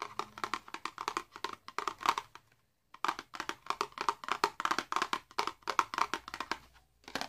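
A small, hollow, red printed cardboard box holding a candle is held in the hands and tapped and scratched with the fingernails. It makes a rapid run of short, dry, papery taps and scrapes with a hollow tone around 1 kHz and a light bright edge. The run pauses briefly for about half a second near the three-second mark, then resumes.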